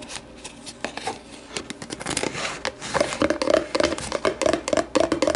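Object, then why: Thin plastic deli container. Long matte nails on both hands tap and scratch the sides of an empty, hollow, translucent plastic deli container resting on a wooden table, later with the container turned upside down. Dry, bright scratching and scattered clicks give way to rapid, irregular taps that bring out a hollow plastic tone in the mid range, each tap dying away almost at once.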